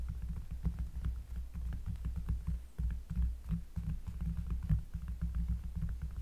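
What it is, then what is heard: Cork surface, finger tapping. Close-up fingertip tapping on a cork surface, producing a rapid run of soft, deep, bassy thuds with a low throbbing hum underneath. Each tap is dull and dies away almost at once, with only faint high ticks above.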